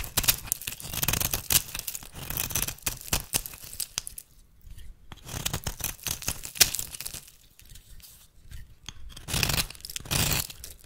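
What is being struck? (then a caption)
Bar of soap cut with a metal blade. A metal blade held in the fingertips shaves and cuts flakes off the edge of a solid, rancid rectangular yellow bar of soap held in one hand, over a pile of soap shavings. Bright, crisp scraping and tearing cuts come in dense bursts with quieter pauses between them.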